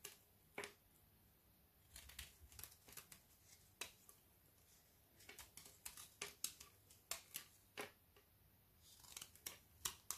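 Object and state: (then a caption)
Frozen milk chocolate piece scraped with a knife. A thin leftover strip of frozen Milka milk chocolate bubble bar, held between the fingers, is scraped and shaved with a metal knife blade. The result is a string of short, bright, crisp scratches and crackles, some in quick clusters, separated by quiet pauses with almost no low end.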